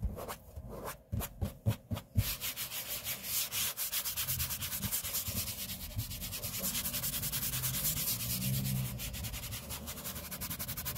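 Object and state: Laminate tabletop being rubbed.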